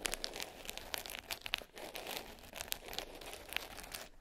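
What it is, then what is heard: Glitter-covered hard case. Long pink French-tip nails tap and scratch the top of a small black hard case covered in glitter fabric, closed and lying flat. Rapid, bright, crackly clicks and raspy scrapes dominate the sound, with little low end. The case gives a dense, crinkly texture of quick hits that die away almost instantly.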